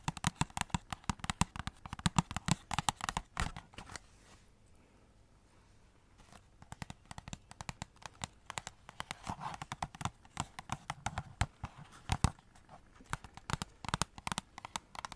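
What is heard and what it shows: Long nails rapidly scratch and tap the silver foil and glitter-paper surfaces of a hollow cardboard Christmas cracker held upright. The result is dense, crisp, dry clicks and rustling scrapes with a hollow body. The tapping goes quiet for about two seconds midway, then resumes.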